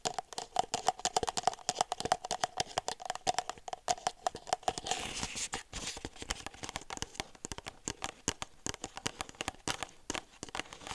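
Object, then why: Disposable plastic cup. A red-and-white disposable plastic party cup, empty, hollow and thin-walled, is held close and tapped and scratched with long silver nails on its ribbed sides and rim. Rapid, crisp clicking taps carry a faint hollow tone near 740 Hz. Around the middle they give way to a stretch of rough, hissing scratches before quick tapping resumes.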